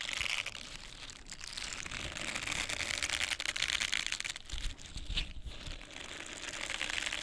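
A small pink silicone face cleansing brush pad with a bristled surface is scratched across its bristles with long painted nails and squeezed. The result is a continuous bright, crinkly scratching texture with a soft low rumble underneath and brief dips as the nails lift.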